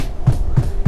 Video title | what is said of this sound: Old Vs. New Stucco | If it sounds hollow, most likely it's over a wood frame.